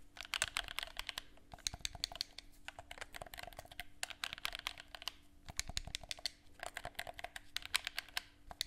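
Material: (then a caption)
Plastic. A hollow black plastic gamepad held in both hands gives rapid, bright clicks as fingertips press its buttons and tap the casing. The dry, short taps come in bursts with brief pauses, over a faint steady low hum.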